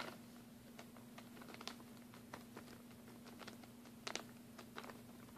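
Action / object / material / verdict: tap / plastic packaging bag holding mini glue sticks / plastic / none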